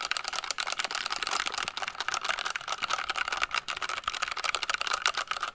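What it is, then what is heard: Plastic mechanical keyboard. A small purple and blue compact plastic mechanical keyboard with a hollow case is held up in one hand while fingertips and long nails rapidly tap and press its keys. The result is a fast, dense stream of sharp, bright plastic clicks and clacks with almost no low end, a steady tone near 1.4 kHz, and each click dying away almost at once.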